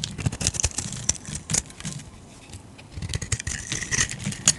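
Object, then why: Solid bar of soap cut with a metal blade. A metal blade carves shavings from a solid rectangular blue bar of soap. Quick, crisp scraping and cutting strokes come in uneven bursts, each with a bright, rasping edge over a soft low rustle, and there is a quieter stretch in the middle before the cutting picks up again.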